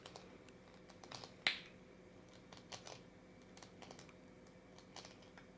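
A hand-sized, purple-and-white hollow plastic Hello Kitty-shaped LOL surprise capsule, held in both hands, is tapped and scratched with long dark-painted nails. Soft, bright plastic ticks and light scratches sound throughout, with one sharper, louder click early on. Each tap dies away almost instantly over a faint, steady background hum.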